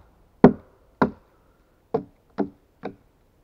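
A steel axe held in gloved hands makes five short chopping strikes on the hewn face of the same solid pine log. Each blow is a brief, dull woody knock with a low-mid body and almost no ring, and the strikes come at uneven intervals. The last few hits are quieter than the first.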